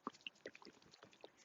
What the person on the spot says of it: you can hear it sloshing